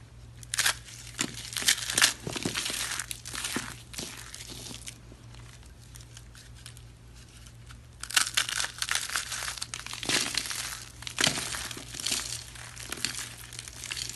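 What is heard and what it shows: A bare hand squeezes and crushes a palm-sized bundle of hollow white dry soap rolls held in one hand, breaking them with the fingers into flakes that fall onto a rubber mat. Dry, bright crackling and crunching comes in bursts over a faint steady low hum, quieting to soft rustling in the middle before loud crunching resumes.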